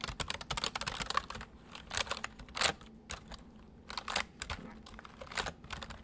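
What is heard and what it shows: Fingertips press the keys of a white full-size plastic mechanical computer keyboard at a slow pace, giving sparse, bright clicks. Short irregular bursts of sharp taps decay almost instantly, separated by brief quiet pauses over a low, steady background hum.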